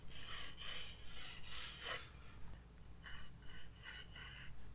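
A graphite pencil sketches outline strokes on a white paper page of a spiral-bound sketchbook resting on a desk. Short, raspy scratching strokes come in quick bursts with bright, hissy texture, pausing briefly midway before resuming. A steady low hum sits underneath throughout.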